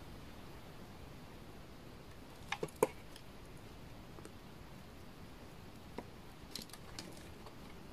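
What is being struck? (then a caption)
Laundry soap bar shaved with a knife blade. A utility knife blade shaves the edge and face of a solid bar of dry orange laundry soap. Short, crisp scraping clicks come in a tight burst near the middle, followed by a few fainter ones later, over a quiet, low background hiss.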